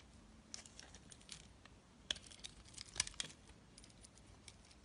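A metal blade shaves curls off a solid, rectangular, pale bar of soap held in the hand. The result is a quiet run of crisp, bright scraping and crackling ticks at an irregular pace, with a few sharper snaps standing out partway through.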